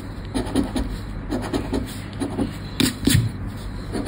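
A thin, credit-card-sized Sorte Neon paper lottery scratch card lies on black cloth, held down by fingertips while the coated play area is scratched with the edge of a round red plastic scratcher disc. A series of short, dry scratching strokes rasps over a steady low hum, with a couple of louder, sharper scrapes near the end.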